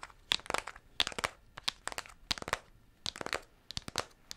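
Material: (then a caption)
Cardboard. Long pink acrylic nails tap and scratch the surface of a flat, closed pink cardboard eyeshadow palette with a black printed logo label, held in both hands close in front of the mic. Quick, dry clicks and scrapes come in irregular bursts; they are bright and crisp with almost no low end, and each one stops instantly with no ring.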